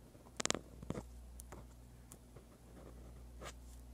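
A dark-bodied pen with a metal tip scratches across a sheet of white lined paper lying flat while writing Korean script. A quick cluster of sharp, bright scratching strokes comes early, followed by softer, scattered pen strokes over a low steady hum.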